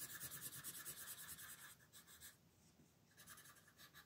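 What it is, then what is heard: Colored pencil shading a paper page. A red wooden colored pencil shades a dinosaur's legs on a thin paper coloring book page lying on a table, using repeated rubbing strokes. The sound is a quiet, rapid, fairly steady scratchy hiss, bright and papery, about three strokes a second. It thins out and pauses briefly near the middle before the strokes resume.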